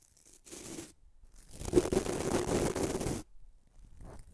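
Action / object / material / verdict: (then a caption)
scrape / bamboo toothbrush with nylon bristles / nylon / none. Fingertips rub the white nylon bristles of a small bamboo toothbrush, making a dry, scratchy rustle. A short soft burst is followed by a longer, denser stretch of bristly scraping with a faint low tone, then it trails off into quieter brushes.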